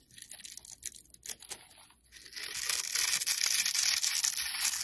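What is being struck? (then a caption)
Soap bar scraped with a metal blade. A solid, rectangular black soap bar held in the hand is scored and scraped with a metal utility blade, crumbling off bits. Short, dry, bright scratches come at first, then after about two seconds turn into a louder, continuous, hissing scrape. The sound is almost entirely high-pitched with no low end.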